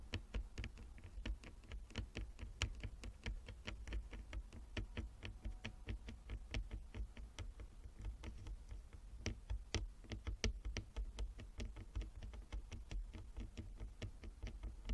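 Long fingernails on both hands tap rapidly and irregularly across a flat wooden chess board with inlaid squares. Each tap is a short, dry, bright click that dies almost instantly, over a steady low hum.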